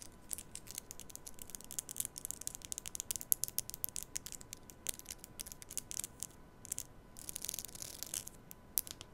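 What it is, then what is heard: Plastic comb strummed. A black plastic comb is held vertically at the mic while long nails scratch and strum its teeth. The result is a quiet, rapid stream of bright, dry ticks and raspy scrapes, with a faint steady tone near 1 kHz underneath.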